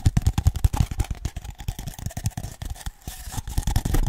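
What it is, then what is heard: Cardboard toilet paper tube. Fingertips and nails tap and scratch along the outer surface of a single empty, hollow, hand-sized grey cardboard toilet paper roll tube held in one hand. Rapid, dull, low hollow thumps die away almost instantly, mixed with soft, dry scraping that runs steadily between the taps.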